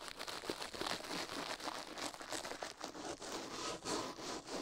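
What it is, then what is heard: Silicone ear scrubbed with a toothbrush. A toothbrush is scrubbed fast against a silicone ear microphone, heard close up. The result is a dense, bright scratching and crinkling rustle with quick, irregular strokes and almost no low end.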